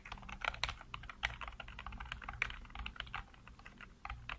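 Fingertips type rapidly on the keys of a black plastic backlit computer keyboard. Quick, dense clicks and clacks with a bright, crisp edge run continuously, each tap dying out almost instantly. A steady low hum sits underneath.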